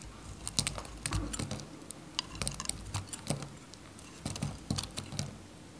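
A varnished, dry white Godrej No.1 bar soap, a solid faceted bar held in the fingers, is cut into small cubes with a metal craft knife. A series of short, dry crunches and crisp snaps follows, each with a bright, sharp edge and a dull low thud beneath. The cuts come in irregular clusters and die away almost instantly.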